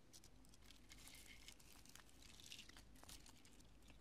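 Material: Polyurethane foam.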